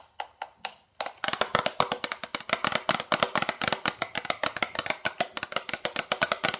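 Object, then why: Small lump of coal. A small piece of coal retrieved from the Titanic wreckage is tapped in quick succession. A few sparse taps come first, then after a short pause a steady run of crisp, dry clicks follows with almost no ring.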